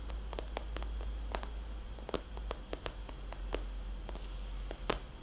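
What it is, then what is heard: Vinyl cosmetics bag. Fingernails on both hands tap a small, glossy red polka-dot vinyl cosmetics bag, producing a quick, irregular run of short, soft, hollow clicks with brief bright edges. A steady low hum sits underneath throughout.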